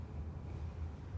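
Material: Nothing is struck.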